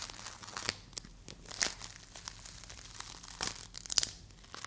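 A small solid green play foam ball made of polystyrene beads is squeezed, twisted and partly torn by both hands with long acrylic nails. It gives a crunchy, bright crackling in a string of sharp crackles and tearing bursts.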